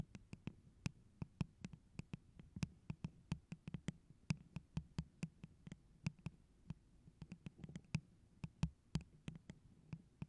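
Long pointed neon-orange nails tap and scratch a tall, hollow, holographic pineapple-print tumbler cup, probably plastic and apparently empty, held in both hands. About forty quick, irregular clicks land over a low hollow resonance around 160 Hz, each dying away almost instantly, with faint scratching between them.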